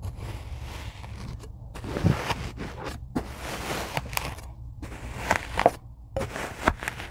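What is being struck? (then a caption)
Tray of kinetic sand cut with a blade. A rocker blade cuts and scrapes through a tray of kinetic sand. Soft, grainy crunching and hissy scraping run continuously over a low rumble, with a few sharper, crisp cuts standing out and dying away almost at once.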